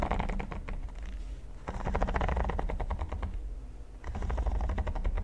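Fingertips and nails tap and scratch the studs of a flat, solid red silicone pyramid mat. Quick, soft, uneven clicks and scratches come in three bursts, bright and papery over a steady low hum, with short pauses between bursts.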